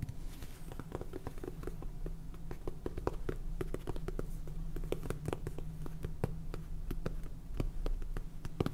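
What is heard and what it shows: Long painted fingernails tap quickly on a small, hollow, cylindrical clear plastic container full of white salt with a purple plastic lid. The result is a rapid, uneven stream of short, dry clicks with bright edges over a steady low hum.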